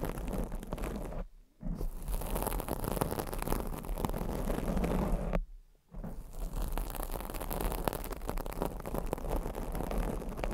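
Long acrylic nails scratch across a black foam microphone windscreen, making a dense, rough, low-heavy rustling and scraping. The scratching runs almost continuously, dropping out in two brief pauses around 1.5 and 5.7 seconds before resuming.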